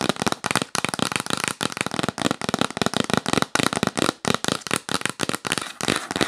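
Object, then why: Cardboard box lid. Long nails tap rapidly across the lid and along the top edge of a hollow, yellow printed cardboard box. The result is fast, dense bursts of dry, crackly clicks with a bright edge and a faint hollow body, each burst separated by brief pauses.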